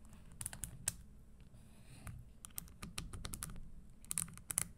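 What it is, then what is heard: Leather stiletto shoe tapped and scratched with nails. Long nails tap and scratch the tan leather insole and the studs of an empty, hollow red studded leather Christian Louboutin stiletto pump, first while it sits on a table and then after it is lifted. The sound is a quiet series of quick, dry, clicky taps with bright, crisp edges and brief scratching, over a low, steady background rumble.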